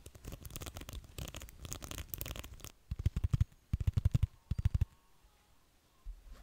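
Fingertips scratch and flick along the rows of dense pin bristles on a small round beige plastic hair brush held close to a microphone. A dense, rapid scratchy rattle runs for about two and a half seconds, then gives way to short bursts of sharp, thumpy flicks in quick clusters. The clip ends in near quiet with a soft bump.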